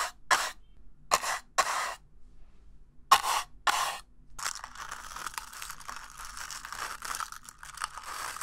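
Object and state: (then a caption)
Paper cup being scraped. The inside of an empty, hollow, red-and-white disposable paper cup is scraped and brushed with a small black plastic brush tool. Six separate rasping strokes come first, then give way to continuous, quieter scratching. The sound is dry and papery, centred around 1 kHz, with bright fizzy edges and almost no low end.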